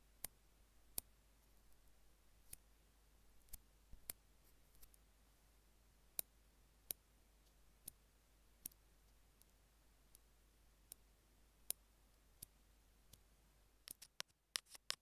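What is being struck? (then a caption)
Small plastic earphone mic remote tapped with metal tweezers. The tips of metal tweezers tap a small, hollow, white plastic Apple in-line earphone mic remote resting on a jade stone, making about nineteen sharp, dry, bright clicks. The clicks come at irregular intervals over a quiet, low background hiss and die away instantly with no ring. They cluster more quickly in the last second.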